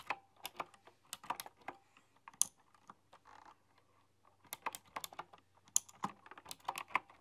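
Fingertips with long, dark-polished nails type on a full-size, typewriter-style computer keyboard with round, chrome-rimmed, hollow keycaps. Quick runs of bright, sharp clacks die away almost instantly, with a short quieter stretch of soft rustling partway through before the typing picks up again.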